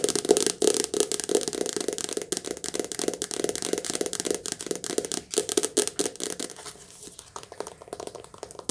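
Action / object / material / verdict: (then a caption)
tap / softcover paperback book with glossy card cover / paper / none. Long nails tap quickly on the glossy card cover of a softcover paperback book, held sideways and then upright. The dense run of crisp, bright clicks has a papery, hollow body and dies away instantly, growing softer and sparser toward the end.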